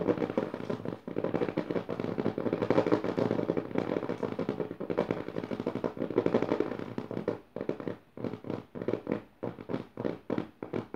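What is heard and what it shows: Long dark nails quickly tap and scratch the dotted paper of the left page of an open hardcover notebook. For the first seven seconds or so, a dense, continuous papery scratching and rattling sits mostly in the low-mid range. It then breaks into separate, sharper taps with short pauses between them.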